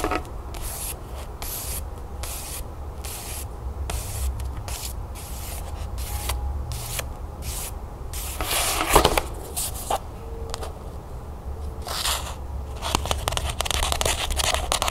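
Dense, soft scratching and quick fingernail taps on a cloth-covered hardcover book, dry and short with no ring.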